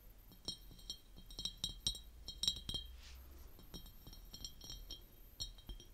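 Long painted nails tap and clink on the sides of a large, empty, clear glass jar with its lid off, standing on purple velvet. A quick series of light, bright glassy clicks rings with a hollow tone, each fading almost immediately, over a faint low background hum.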